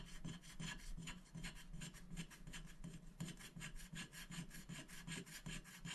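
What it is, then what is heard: Scratch-art sticker sheet being scratched. A wooden stick rubs and scratches the black coating off a thin, flat scratch-art paper sticker sheet lying on a glass board, working in short strokes. The result is a fairly steady run of soft, raspy, bright scratching strokes over a constant low hum.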